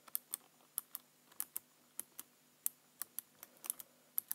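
Fingertips tap and type on the keys of a black plastic computer keyboard. About 17 short, dry, bright clicks come in an uneven rhythm, each dying away almost instantly, all at a quiet level.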